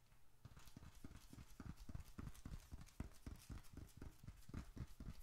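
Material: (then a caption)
Leather. A small, closed, dark red leather bifold wallet, hollow with bills and receipts inside, is held in both hands and rapidly tapped with the fingertips on its outer faces. The result is a quick, somewhat uneven patter of soft, dull, low thumps with brief bright ticks, each tap dying away almost at once.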